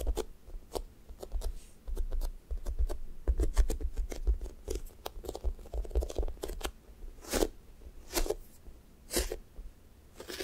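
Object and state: Sticky foam squishy toast toy.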